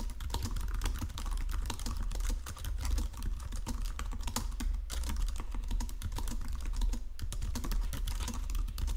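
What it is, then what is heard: Plastic computer keyboard being typed on. A full-size white-and-silver plastic Logitech wireless keyboard lies flat on a marble surface while both hands type on the keys with their fingertips, pressing and tapping continuously. A dense, steady stream of quick plastic clicks and clacks runs throughout, with a low, thumpy body under each short-decaying key strike.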